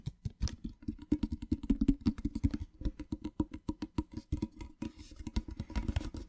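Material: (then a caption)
Tin-plated metal. A small, hollow, rectangular printed metal tin is tapped on its sides and top with fingertips and nails. A quick, steady run of light taps gives short, dry knocks with a hollow low-mid tone and a faint metallic ring above. Each tap dies away almost at once.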